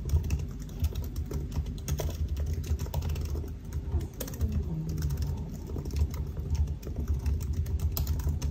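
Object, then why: Laptop keyboard, plastic keys in an aluminium body. Fingertips of both hands type continuously on the black plastic keys of a silver aluminium laptop keyboard. A steady stream of soft, short, dull clicks and taps is heard, with most of the energy low and a faint bright edge on each keystroke.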